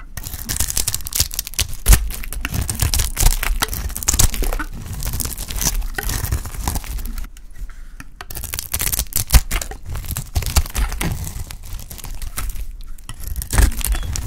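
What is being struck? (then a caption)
Soap bar. A solid oval pink bar of dry soap, held in the hand, is shaved with a metal blade so flakes peel off. It produces a steady run of dry, crisp scraping and tearing cuts with bright crackly detail over a low thumping undertone, and a brief quieter lull near the middle.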